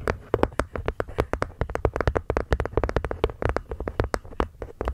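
A wooden box is gently tapped with the fingers in a quick, uneven series of soft, dull taps. Each tap dies away almost at once, with most of the sound low and hollow and very little high-frequency crispness.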